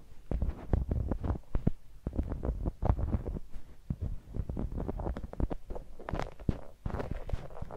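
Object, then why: Spiky rubber massage ball. A palm-sized, clear, translucent spiky rubber massage ball, likely hollow and held in one hand, has its spikes rubbed and scratched against a small handheld microphone. This makes a dense run of irregular, muffled low thumps and scratchy rustles, heavy in deep bass. The bursts come quickly and overlap, with short pauses between flurries.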